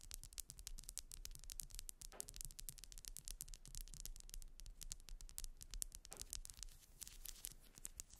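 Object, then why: Ribbed wax pillar candle. Long nails scratch rapidly across the ribbed ridges of a grey solid wax pillar candle resting on fur. The result is a dense, quiet stream of bright, crisp scratching clicks over a low rumble, with slightly fuller swipes around the 2- and 6-second marks.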